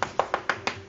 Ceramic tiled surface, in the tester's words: là ça sonne creux tout ça